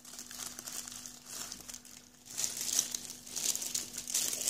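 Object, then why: Clear plastic film wrap on a cardboard box. A hand grips, presses and rubs the loose clear plastic film wrapped around a small printed cardboard box holding Sound Intone i68 headphones, working over the top and sides of the full box. The film gives bright, irregular crinkling and crackling that dips quieter around the two-second mark, then grows louder and denser, over a faint steady low hum.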